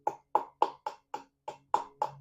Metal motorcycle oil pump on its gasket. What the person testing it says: that Hollow sound that means it's actually starting to release